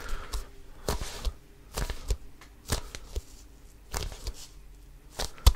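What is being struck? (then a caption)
Inflated composite leather basketball. Fingertips grip and scratch the pebbled composite leather surface of a full-size, inflated, hollow Wilson Evolution basketball. The result is a series of short, dry, scratchy bursts with a soft low thump as the hand grasps the ball, separated by quiet gaps. The clip ends on a sharper, louder grab.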